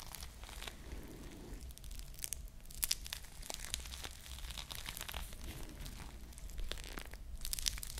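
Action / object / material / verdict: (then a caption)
scrape / foam squishy toy covered in plastic beads / foam, plastic / none. A small foam squishy ice cream bar covered in plastic bead sprinkles is held close to the mic and scratched and squeezed with long nails. The result is a steady stream of dense, crinkly, crunchy scratching with sharp bright clicks over a soft low rumble.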